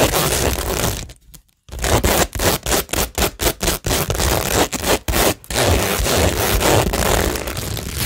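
Long nails and fingertips scratch and rub across a cork tingle board studded with plastic rhinestones, producing a dry, bright, crackling scrape. A steady scratching gives way to a brief silence, then a run of short separate strokes, before the scratching turns continuous again to the end.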